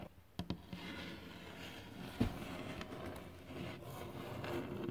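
Fingertips tap on a glossy, solid varnished wooden surface, producing short, dull knocks that fade quickly. The taps sit over a steady, quiet low-pitched background noise, with one louder tap standing out near the middle.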